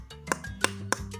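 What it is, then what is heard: Hard, rigid FR4 fiberglass circuit board. Three sharp, dry taps on the bare FR4 fiberglass circuit board of an M500 power amplifier give short, hard "tok" knocks with almost no ring, over a faint steady tonal background. The board sounds harder than an ordinary PCB because it is very hard and strong and does not bend easily.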